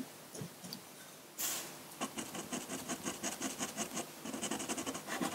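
A metal dip pen nib scratches ink strokes onto a large flat sheet of white drawing paper. A few faint scratches come first, then a brief bright rasping burst, followed by a steady run of about nineteen quick, crisp scratching strokes with a papery, high hiss.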